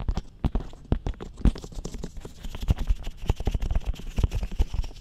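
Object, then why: Hard plastic dummy head microphone. Fingertips and nails tap and scratch on the sides of a glossy black hard plastic dummy head microphone, near the ears. Many quick, dull, low-heavy taps arrive in a steady, irregular stream with a faint scratchy texture between them, each dying away almost at once.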